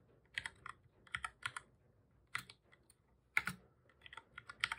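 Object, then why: Plastic computer keyboard. Fingertips of both hands type on a black full-size plastic computer keyboard, pressing keys repeatedly. Quick, bright, clicky taps come in irregular bursts with short pauses between them. Each press stops almost instantly, with very little low end.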